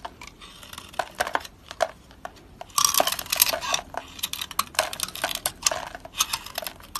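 A utility knife blade repeatedly shaves and chips pieces off a solid green soap bar, with flakes falling onto a green mat. Dry, crisp scraping and crackling bursts repeat throughout, mostly bright and high with almost no low end. The sound grows denser and louder in the second half.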